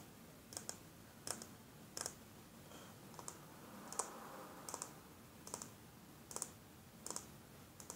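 Fingernails tap a small square glass perfume bottle with a black flower cap, partly filled with blue liquid, both while it is held in the hand and while it stands on a table. The quiet, bright, clicky taps come roughly once a second at uneven spacing, some in quick double ticks, and each dies away almost at once over a faint steady hiss.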